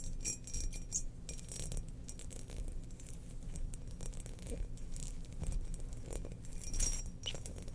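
Long nails scratch and tap the patterned outer surface of a hollow, glazed ceramic Death Star bowl resting upside down. The result is a steady, dense rustle of scratching mixed with light, glassy clinks that ring only briefly, over a low background hum.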